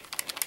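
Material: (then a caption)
Plastic. Cheaper Soul SL100 plastic on-ear headphones are shaken in a durability shake test, producing a quick series of light, bright plastic rattling clicks. The rattle shows they are made of plastic and will break if dropped.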